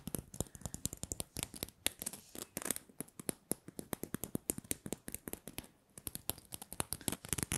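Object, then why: Small glitter-coated plastic Christmas bauble. Long nails scratch and tap the glittery surface of a small, hollow, red glitter-coated plastic Christmas bauble held close to the mic. About 47 quick, dry taps and scratchy crackles follow one another over a soft, bright rasp, with a brief lull near the six-second mark. The clicks are quiet, very short, and leave no ring.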